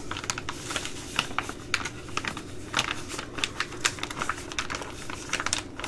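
A Ready Rice plastic laminate pouch, held in both hands, is tapped quickly and irregularly with long glittery nails. This produces a steady stream of sharp, bright, crisp clicks and light crinkles, each dying away almost instantly, over a faint low background hum.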